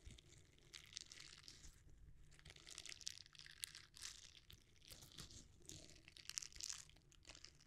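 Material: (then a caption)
Silicone. A red, palm-sized, flexible silicone bristle scrubber is bent and rubbed with the fingers and thumbs close to the microphone without touching it. Quiet, bright crinkling and crunchy rustles come in uneven bursts, with a faint low rumble underneath.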